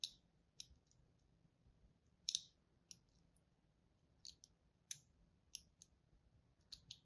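A pink-and-white striped bar of dry solid soap is held in the hand while a small pointed tool and a thin thread score and cut into its surface. About eleven quiet, sharp, bright clicks and scrapes are heard, each dying away almost instantly, with near silence between them.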